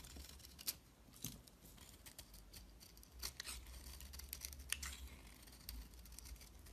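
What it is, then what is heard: Bar of soap being scraped. A metal utility knife blade shaves the shiny blue outer layer off a palm-size, solid rectangular Dalan soap bar held in the hand, then scrapes its cream-white core into curls. Quiet, bright scraping strokes and crisp shaving bursts come in irregular sequence over a steady low rumble.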